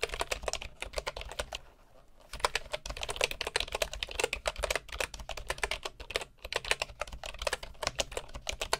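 Fingertips of both hands type on the wooden keys of a bamboo computer keyboard, producing a rapid stream of crisp, bright clicks with very short decay. The typing pauses briefly near the two-second mark, then resumes at a steady, dense pace to the end.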